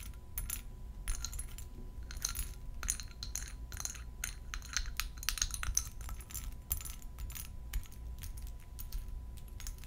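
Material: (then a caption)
Glass. A faceted purple glass perfume bottle filled with liquid is held in both hands and tapped and scratched with long gold metal nail claws. Quick, bright clicks and short scratchy scrapes come in rapid, uneven bursts, each dying away almost at once. Underneath runs a steady low rumble and a faint constant tone.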